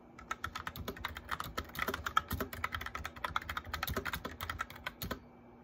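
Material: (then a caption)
Plastic. Both hands type on a white plastic mechanical keyboard, tapping the keycaps with fingertips and nails. The result is a steady stream of quick, dry clicks and clacks with brief bright ticks and soft low thumps. The keystrokes are tightly spaced and die away almost instantly.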